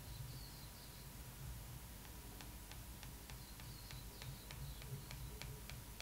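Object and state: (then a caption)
Glossy magazine cover tapped with pen. A metal pen tip taps and traces over the face printed on a glossy paper magazine cover, making a steady series of short, dry ticks. The ticks sit over a quiet, constant low hum, with faint high chirping tones drifting in the background.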